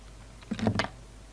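A utility knife blade cuts and scrapes down the petals of a solid red soap poppy held in the hands. About four quick, crisp scraping cuts land within half a second, with a dull low body and brief bright edges that stop almost at once.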